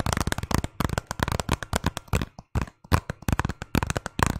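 A hollow hard plastic Zelda video game case, held near the mic, is tapped and scratched with fingernails, and is partly hidden behind the mic at the end. Rapid bursts of sharp, dry clicks with a low, hollow knock come in quick clusters with short pauses, each tap dying away almost instantly.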